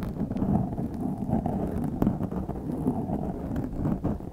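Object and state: Foam microphone windscreen being scratched.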